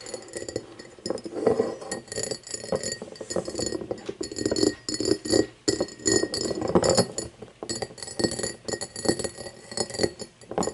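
An empty cut-crystal glass tumbler lying on a wooden table is tapped with long painted fingernails in quick, irregular bursts. Each tap gives a short, dry glassy clink with a midrange tone near 430 Hz and a faint bright ring that dies away almost at once.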